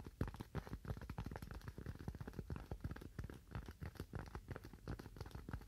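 A thin, slightly curved white styrofoam sheet, held in both hands, is tapped and scratched with fingernails. It produces a quick, uneven run of soft, dull, low-pitched taps, about three per second, with faint scratchy texture between them. Each tap dies away almost instantly.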